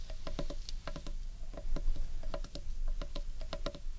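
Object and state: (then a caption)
Carved wooden bowl, tapped. Fingertips and nails tap quickly on the underside of a large, hollow carved wooden bowl. The result is a rapid, irregular patter of short, dry knocks, each with a brief hollow tone in the mid range, over a steady low rumble.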